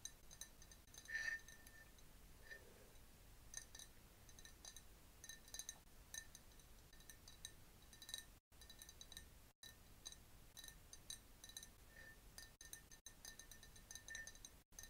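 A clear glass jar partly filled with liquid, with a bamboo straw inside, is held in both hands and tapped with long nails. Quick, light clinks with a bright glassy ring repeat throughout over a quiet background, with a few short silent gaps.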